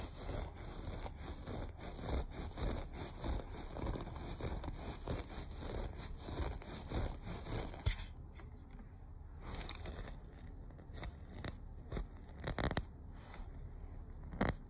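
Short nails scratch across the loops of a beige looped carpet, making rapid, rough rubbing strokes with a low, dull body and a faint hiss on top. The scratching is dense and steady for about eight seconds, then briefly thins out before resuming in sparser bursts, with a couple of sharper scrapes near the end.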